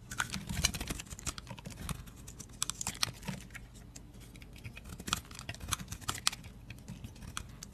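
A utility blade scrapes and shaves curls off a solid teal bar of dry soap held in the hand. Quiet, rapid, crisp scratching ticks with a bright, papery edge and a soft low rustle underneath, each stroke dying away almost instantly.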